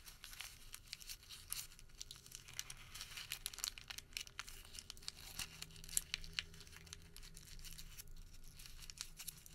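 A small wad of printed thermal paper receipt is rolled and crinkled between fingertips. It makes a steady, quiet stream of dry, bright crackles with frequent sharp snaps over a faint low hum.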